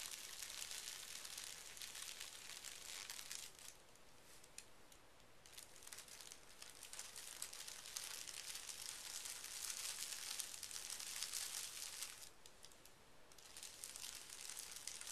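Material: Tissue paper.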